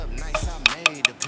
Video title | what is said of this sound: TEMPUH JARAK 2400KM PP HANYA UNTUK AUDIO MOBIL BERKELAS!! TOYOTA LAND CRUISER VXR300 DENGAN ALPINE. | ini disentil-sentil kayak gini. Ini adalah plastik.